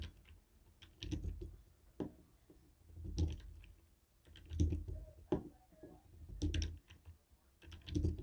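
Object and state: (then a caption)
Plastic TV remote tapped with a jade roller. A jade stone face roller taps on a white and black hollow plastic TV remote control. It makes quiet, dull, low clicks in irregular bursts that cut off quickly with little ring.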